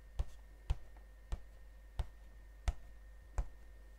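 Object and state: Cardboard box tapped.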